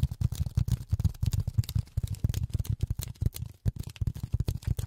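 Polyethylene foam is tapped rapidly with silicone rubber finger pads, producing a dense run of soft, dull thuds concentrated in the low range around 100 Hz. Each tap dies away almost instantly with no ring, and the pattern stays quick and uneven throughout.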